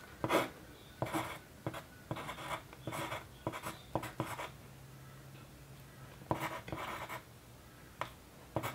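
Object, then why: Graphite pencil on a paper sheet. The graphite tip of a yellow wooden pencil scratches across a white paper sheet on a desk while writing figures. Short, papery scratching strokes come in quick bursts with brief pauses between them, leaving a quiet background in the gaps.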